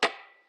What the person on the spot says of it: 소리가 지금 이렇게 하면 책상 두드리는 소리가 나지요